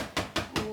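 Three sharp taps on a green, over-inflated 18-inch Sempertex latex balloon stretched very tight. Each tap makes a short, bright, drum-like pop with a slight ring.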